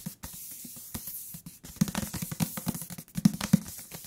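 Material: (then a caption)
Paper. Fingertips tap a thick paper book on its cover and along its edges, making quick, soft, dull taps with a low thump and a faint papery hiss. The top and bottom edges sound different even though they are the same thickness and material. The taps are irregular and get louder and thumpier in the second half.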